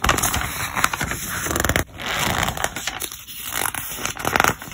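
Fingertips rub the glossy paper pages of a thick, open softcover trade catalog lying on a table, then lift and turn them. The result is a dense, bright rustle of crinkling, scraping paper with sharp crackles and a brief quiet dip midway before the page handling resumes.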